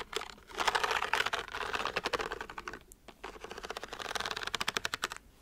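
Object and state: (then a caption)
Pleated paper book lamp. Long white nails scratch and tap along the fanned-out, glowing pleated paper shade of a hand-sized, book-shaped lamp with hard covers. The result is a quick, crisp run of dry papery ticks and rustles, dense at first, then pausing briefly before a rapid, bright tapping sequence.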